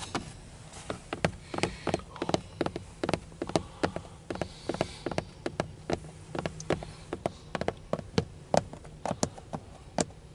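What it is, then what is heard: Plastic steering wheel cover tapped. Fingertips and nails tap on a textured dark plastic steering wheel airbag centre cover with a chrome emblem, a hollow molded housing. About 38 quick, dry taps come at an uneven pace, each a short click with a mid-range knock near 580 Hz. They die away almost instantly over a faint background hum.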